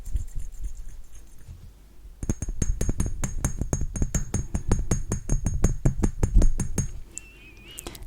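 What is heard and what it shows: A Narciso Rodriguez Musk Noir glass perfume bottle is tapped in a quick, uneven run of light knocks and clinks, with a faint high glassy ring over the taps. The taps start after a soft, quieter opening and stop after about five seconds, leaving a low hush.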